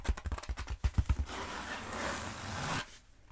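Long nails tap a long black foam roller held diagonally, giving eight quick low, dull taps before scratching across its textured foam in a steady, bright rasping rush that stops abruptly into near silence.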